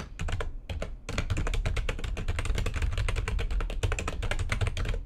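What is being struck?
Plastic computer keyboard.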